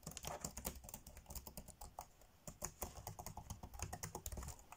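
Fingertips tap fast on the dark grey plastic chiclet keys of a laptop keyboard, typing. A quick run of short, bright plastic clicks with a soft low thump under each dies away almost at once. A brief lull near the middle comes before the typing resumes.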